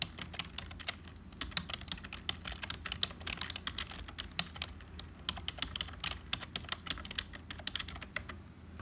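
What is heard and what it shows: Fingertips of both hands type steadily on a black HP plastic membrane keyboard with hollow keys. The result is a fast, uneven stream of short, dry, bright clacks that stop at once, centered around 3.7 kHz, over a faint low hum.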